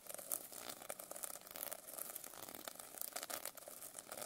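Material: Plastic sequins.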